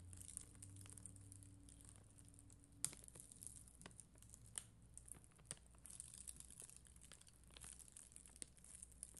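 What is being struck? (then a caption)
Acrylic rhinestones on a sticker backing. A spoolie brush scratches across an acrylic rhinestone sticker sheet with red and clear acrylic gems on a white backing. The sound is a quiet, steady, bright crinkly scratching, broken by sharp little ticks and clicks. A low hum runs underneath, with a faint low tone that drops away about three seconds in.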